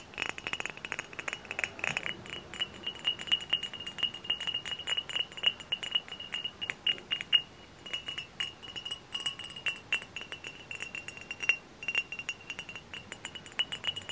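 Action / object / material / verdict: tap / glass bottle / glass / none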